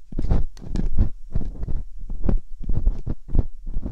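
Both hands slowly scrape metal dental picks inside the canals of silicone binaural microphone ears. The result is a series of close, rumbling scrapes and scratchy bursts at an uneven pace, with most of the energy deep in the low end.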